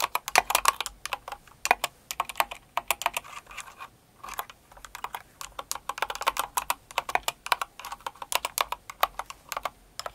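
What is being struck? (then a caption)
Mechanical keyboard with plastic keycaps. Both hands with long acrylic nails type on a Cinnamoroll-themed mechanical keyboard with plastic keycaps. Quick, crisp clacks come in a fast uneven run with a brief pause near four seconds. Each click is short and dry, with a hollow plastic midrange, a bright edge, and no low end.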